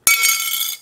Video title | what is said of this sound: Apple Card Unboxing & Apple Card Review | that noise to me it's just so clanky and like I don't think it's that great of a sound